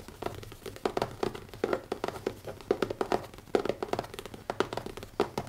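Fingertips tap fast on the cover of a new leather notebook. The taps are quick, soft, dull thuds with almost no ring, coming in rapid irregular bursts over a quiet background.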